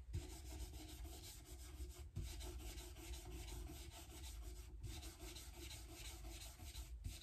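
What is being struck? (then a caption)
Rosewood guitar fretboard with metal frets. A white cloth scrubs back and forth along the dark rosewood fretboard, with metal frets, of an unstrung Epiphone Casino hollow-body electric guitar neck. It makes a steady, low, dry rubbing sound that is broken by a few brief dips where the strokes change direction.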